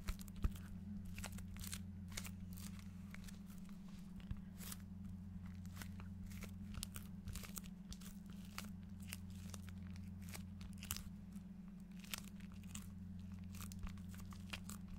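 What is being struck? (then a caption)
Foil-printed paper gift bag. Fingertips and nails scratch and rub the surface of a medium flat paper gift bag with a shiny holographic quatrefoil print and a dark handle, held up in front of the mic. Quick, irregular crinkly scratches and crackles sound over a steady low hum.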